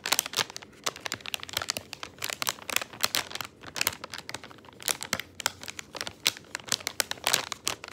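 Fingertips press and crumple the film of a crinkly plastic candy bag with gumballs inside, resting on a wooden table. Dense, bright crackles and crinkles come in quick irregular bursts, with almost no low end. Each snap dies away almost instantly.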